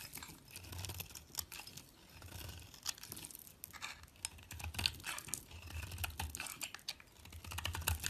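A solid yellow bar of soap with a green speckled rim, held in fingers with long nails, is shaved and cut with a metal utility blade. Dense, crisp scraping and crackly cutting strokes come in bright bursts over a soft low rumble, with short pauses between passes.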